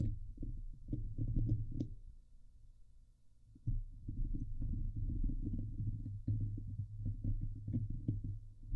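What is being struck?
Woven steel mesh microphone grille.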